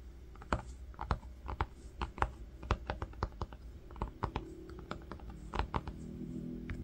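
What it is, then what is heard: Linen fabric-covered book cover. A single fingertip traces and rubs letters across the woven surface of a flat green linen-textured fabric book cover resting on pink fur. The result is a quick, irregular series of soft, dry scratches and light taps, each brief and crisp, over a faint, steady low hum.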